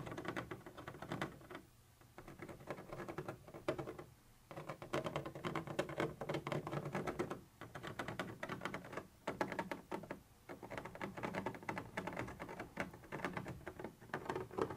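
A thin metal pointer tip rapidly taps and scratches a white translucent textured plastic surface. It makes a dense, crackly patter of quick clicks and scrapes, broken by a few brief pauses. The sound is mostly mid-range, with little deep low end and only a faint bright edge.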